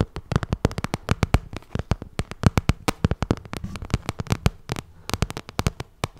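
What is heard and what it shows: Long nails tap and scratch the face of a glossy pink vinyl cosmetic bag, producing a rapid, uneven stream of sharp, dry clicks. Each tap is short with almost no ring, carrying a dull low thump under a bright tick, with faint scratchy rustle between hits.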